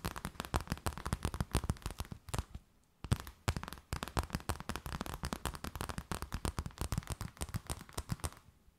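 An empty clear plastic bag is scratched and tapped with long nails, producing rapid, dense crinkling and clicking taps. The taps carry a strong low thump under brighter crackle, with a brief silence near the three-second mark before the crinkling resumes and then fades out.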